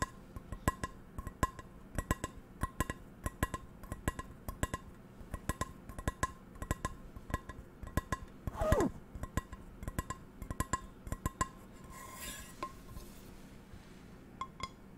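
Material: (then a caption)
Steel. Long nails tap the textured steel base of a hollow, empty medium metal frying pan with a black non-stick coating, held in front of the mic. A quick, irregular stream of sharp metallic clicks rings briefly over a low hum, with a short sliding scrape near the middle and a softer brushing sound toward the end.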